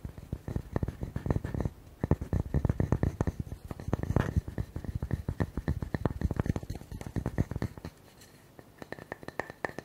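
Fingertips and nails tap and scratch quickly on the flat cut face of a solid, palm-sized round wooden tree slice with a bark rim. A dense stream of short, dull, low thuds dies away almost instantly, with faint scratchy texture between them. The tapping eases briefly near the end before picking up again.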